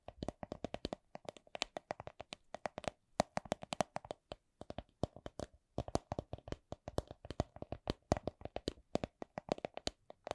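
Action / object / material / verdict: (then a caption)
tap / clear vinyl coin purse / vinyl / none. Long nails tap and squeeze a small, hollow, soft clear vinyl (PVC) coin purse printed with a Miffy design. Quick, dry taps with a hollow plasticky tone around 630 Hz come in rapid bursts separated by brief pauses. Each tap dies away almost instantly.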